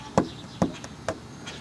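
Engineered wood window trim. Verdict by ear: Rotted.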